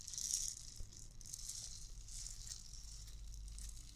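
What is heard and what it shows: A hollow, clear plastic bauble ornament partly filled with white beads is shaken and tapped by long nails. It makes a soft, continuous bright rattle of beads, loudest in the first half-second, with a low rumble underneath.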